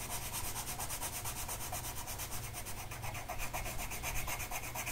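A blue colored pencil tip is rubbed back and forth across a flat printed mandala coloring sheet of paper that rests on a table, held down by one hand. The result is a steady, brisk, scratchy rubbing with a bright papery hiss in quick repeated strokes over a low, constant hum.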